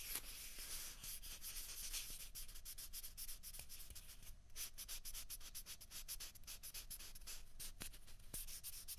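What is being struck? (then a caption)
Plastic ping pong balls. Two small hollow white celluloid or plastic ping pong balls, one held in each hand away from the microphone, are rubbed and scratched with long fingernails. The result is a quiet, continuous, bright scratchy rasp made of rapid, dry strokes. It softens briefly around the middle and then carries on to the end.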